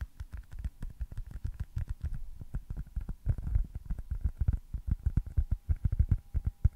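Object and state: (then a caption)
Foam stress ball. A small, solid white foam stress ball shaped like a baseball, with red stitching, is held close to the mic and tapped and scratched with fingertips and nails. Rapid, uneven soft taps make dull, low thuds that stop at once with no ring, mixed with faint brushing scratches.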